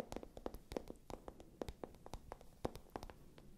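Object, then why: Patent leather clutch bag. A small, hollow, pale pink patent leather clutch bag has its glossy surface scratched and tapped by long nails. Quick, dry taps with a mid-range knock around 500 Hz ring off almost instantly, mixed with soft scratching over a low rumble.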